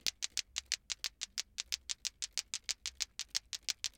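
A hand shakes a green glowing lato-lato plastic ball clacker, a toy with two small solid plastic balls on cords, so the balls clack against each other near the listener's head. There are 25 quiet, sharp, bright clicks at roughly three per second in a loosely steady rhythm. Each click dies away almost instantly, with no low end.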